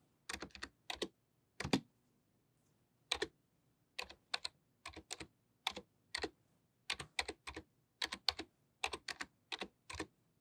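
Long nails and fingertips type on a pink-white plastic membrane computer keyboard with low, flat keys. Quick bursts of sharp, bright clicks and taps come in short groups separated by brief silent pauses, each click dying away almost instantly.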